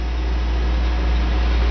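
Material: Nothing is struck.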